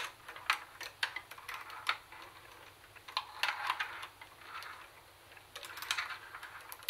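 Long nails tap rapidly on the cassette deck buttons and plastic lid of a grey-black plastic CD cassette boombox. The result is a quick run of dry, bright plastic clicks that fade almost instantly, coming in uneven bursts over faint background hiss.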